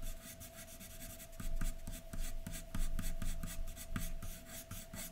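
A graphite pencil tip scratches across a large white sheet of drawing paper lying flat, making short, fast hatching strokes on the hair area of a drawing. The clip is a quiet, dry, scratchy rasp of rapid strokes rising and falling in bursts, over a steady faint hum.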